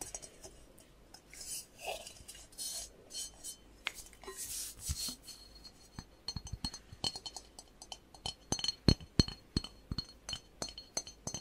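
A medium, hollow, empty brass singing bowl with an etched pattern is held in the hands close to the microphone and tapped with fingertips and nails. Soft, muffled touches and brushing swells in the first half give way to quicker, sharper clinking metallic strikes with brief bright ringing overtones. The taps come in an irregular stream that grows denser and louder toward the end.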